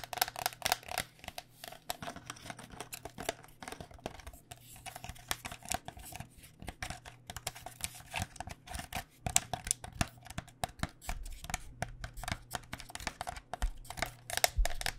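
Long dark nails tap rapidly on the plastic shell and near the vents of a hollow white cycling helmet with a plastic shell over foam. The taps are quick, light and clicky, with a hollow tone around 700 Hz that dies away almost at once. A steady low hum runs underneath.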